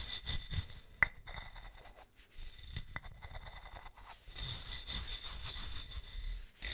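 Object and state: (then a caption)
Ribbed metal bottle being brushed. A gloved hand brushes and scratches the ribbed body of a large, hollow, silver metal swing-top bottle, held horizontally, using a wooden-handled bristle brush. A bright, scratchy bristle rasp comes in uneven strokes, with a sharp metallic clink near the start that rings briefly around 2 kHz. The brushing grows denser and louder toward the end.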